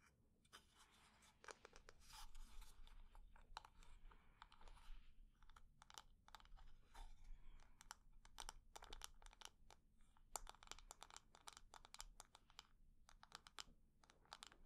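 A wooden decorative container is tapped quickly and at medium speed, and its textured surface is scratched. The result is a dense run of short, dry clicks with almost no ring. The clicks are mixed with raspy scratching bursts over a low hum.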